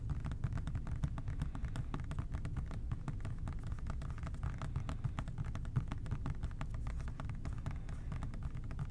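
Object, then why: Plastic trigger spray bottle. An OxiClean plastic trigger spray bottle is tapped quickly with the fingertips of both hands, producing a steady, dense stream of soft, rapid taps. Each tap is a short, low, hollow thud with faint brighter clicks on top, and the sound stays even in level throughout.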